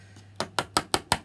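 A small 30 ml jar of homemade anti-aging cream is tapped to settle the cream, giving five short, dry knocks with a quick bright click and almost no ring. A faint earlier tap comes just before the five clear hits, over a low steady hum.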